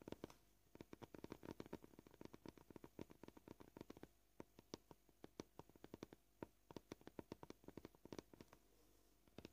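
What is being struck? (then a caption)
Plastic cutting board. Short purple-polished fingernails tap close-up on a flat, solid white plastic cutting board in a quick, uneven run of dry clicks. The pace shifts between bursts and pauses, and each tap stops almost instantly with a soft, low body.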